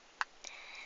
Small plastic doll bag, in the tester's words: Et à l'intérieur c'est creux. Et donc ça sonne creux.